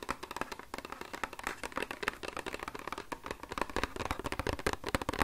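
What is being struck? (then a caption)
Small cardboard product box. Fingertips and nails tap rapidly on the faces of a small, hollow, rectangular pink printed cardboard cosmetics box with "Love" lettering, held in both hands close to the microphone. The taps come in a fast, irregular stream of short, dry, hollow clicks and knocks, centered in the midrange with a light low thump and almost no ring after each hit.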